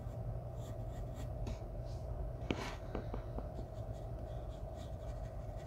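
A graphite pencil held in the fingertips makes light scratching strokes on a thin sheet of white drawing paper taped flat on a wooden table while shading a portrait. Soft, brief strokes and ticks sit over a steady low hum and a faint constant tone.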